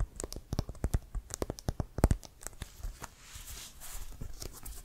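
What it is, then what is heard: Inflated synthetic-leather football, hollow. A full-size, inflated brown pebbled synthetic-leather American football with a white stripe is held in hand and tapped and scratched with fingertips and short nails. Quick, dull hollow thumps with a low body stand out over soft scratchy rustling. After the midpoint, the tapping gives way to a steadier, hissy scratching on the pebbled surface.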